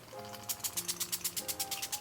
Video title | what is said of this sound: MY SIGNATURE BRIDAL GLAM PART 2 -- BRIDAL MAKEUP TUTORIAL 2023 | this has like a little agitator in it you can hear it as I'm shaking it up here